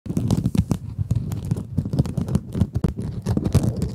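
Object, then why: Mesh-covered foam scrub sponge. Long acrylic nails scratch a small, rectangular pink kitchen scrub sponge with a sparkly woven mesh cover, soft and solid, held in front of microphones. The result is a dense, steady run of quick, crackly scratching strokes, heavy and rumbly in the lows with brief brighter edges on each stroke.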